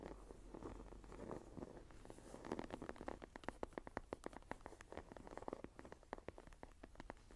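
Fingertips and nails scratch and tap the cover of a closed dark green textured leather journal with a cord. Soft, muffled scratching in the first two seconds gives way to a quick, uneven run of short, dry taps with almost no ring. The sound stays quiet and mostly low to mid in tone.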